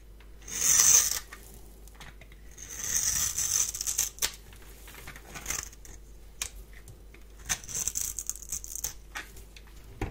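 A palm-sized, solid rectangular bar of dry yellow soap is held in one hand and scraped with a metal blade, which rasps across the surface as crumbs fall off. Bright, high, hissing scrapes come in a few louder bursts, with softer crackles and small ticks between them. There is almost no low end.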